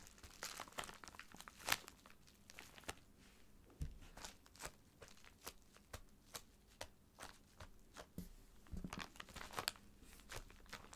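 Fingertips and nails scratch and squeeze the surface of a filled white plastic poly mailer bag lying flat. The result is a quiet run of sharp, bright crinkles and crackles, with short pauses of soft rustling between them.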